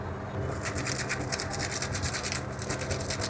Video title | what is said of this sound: 🌙 রমজান স্পেশাল তিনটি বড়া রেসিপি - ইফতার রেসিপি -- Ramzan special recipe -- Ramadan iftar item 276# | ঝনঝন শব্দটা শুনলেই আপনারা বুঝতে পারবেন এটা কতটা ক্রিস্পি হয়েছে